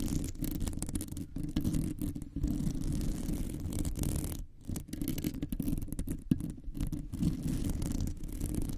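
Long nails of both hands rapidly scratch the rounded, hollow metal mesh grille of a microphone. The result is a dense, continuous, rumbling scratch, heavy in the low end, with a brief dip near the middle.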